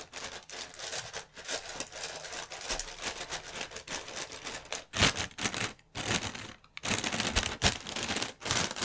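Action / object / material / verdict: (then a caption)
scrape / inflated plastic air pillow packaging / plastic film / none. Fingertips crinkle, rub and tap the film of a clear plastic air pillow packaging strip made of inflated cushions. A dense, bright crackling fills the clip, with louder sharp bursts from about 5 seconds onward separated by brief quiet gaps. The taps are short and dry with almost no ring.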